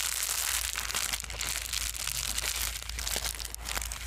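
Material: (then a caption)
Plastic. A small white foam and plastic bubble-wrap sheet is handled, unfolded and crumpled with the fingers. The result is a continuous, dense, bright crinkling with many quick crackles over a steady low hum.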